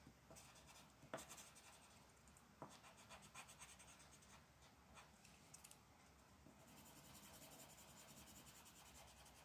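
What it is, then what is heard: Paper page being colored with a marker. A dark marker tip is rubbed in quick scratching strokes across a thin printed paper mandala coloring page lying flat on a dark wooden table. The other hand, with long black nails, holds the sheet still. Soft, bright scratchy strokes repeat steadily, with a few sharper ticks standing out.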